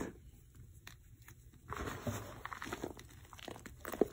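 Bare fingers rub, squeeze and sift fine, dry white gym chalk powder (magnesium carbonate) and its remaining small lumps in a black bowl. Quiet at first, the sound builds into soft, dry crunching and grainy rustling. Small crackles come from the lumps breaking, with a sharper crunch near the end.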